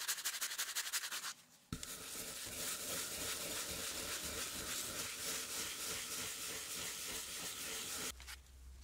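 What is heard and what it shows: A small brush held in a gloved hand scrubs the wet, foamy surface of the flat solid wooden baseboard of a 1908 typewriter, which has screw holes and lies on paper. About ten quick, bright rasping strokes come first, then a brief pause, followed by a long, steady, hissing scrub. The clip ends with a quieter stretch and a low hum.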